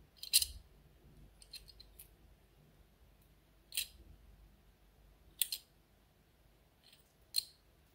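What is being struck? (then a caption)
Small metal enamel pin. Long acrylic nails tap and click on the face of a small, solid, square enamel pin with a gold metal rim, held in the fingers. The clicks are sharp, bright and high, with almost no ring, coming in scattered bursts separated by near silence.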